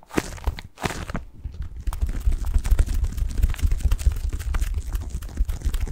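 Fingertips scratch a medium-sized, soft padded white bath tub pillow covered in textured plastic mesh, held in both hands close to the microphone. Dense, crinkly crunching and scraping sit over a heavy, boomy low thumping, easing briefly early on before continuing steadily to the end.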